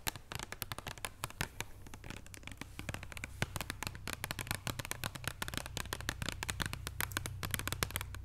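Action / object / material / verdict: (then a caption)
tap / paper-wrapped chocolate bar on a wooden table / paper and foil / none. Long nails tap and scratch rapidly on a flat chocolate bar in a paper or card wrapper over foil, lying on a wooden table. Dense, sharp, bright clicks and crinkly scratches with almost no ring sit over a steady low hum near 82 Hz.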